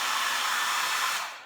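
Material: Nothing is struck.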